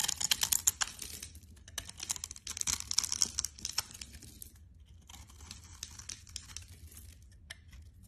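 A metal blade scrapes and chips the scored surface of a solid green bar of soap held in the hand, sending crumbles falling off. The result is a run of quick, dry, crackly scrapes and ticks, bright and crisp, with the busiest stretch in the first four seconds before it settles into softer, sparser scraping.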